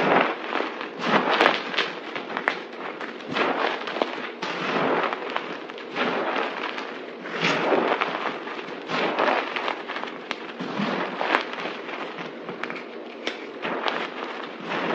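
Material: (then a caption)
Soap. Both hands press, squeeze and scrunch a large pile of white crushed dry soap powder and chunks on a table with fingertips and palms. The result is a dense, continuous crackling crunch, with bright crumbly texture and swelling surges of louder crushing throughout.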